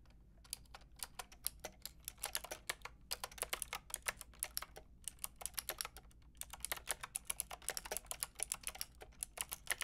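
Long red fingernails and fingertips tap steadily on a Lofree plastic mechanical keyboard with a plastic frame and round keycaps. Quick, bright, clicky keystrokes come in bursts separated by short pauses, each tap dying away almost instantly over a faint low hum.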